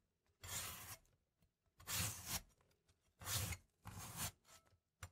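A large cast-iron cleaver, held in a gloved hand, slices through a small remaining wedge of solid red apple. Four long, raspy cuts are heard, each a bright, crisp crunch over a low thud, with quiet gaps between them.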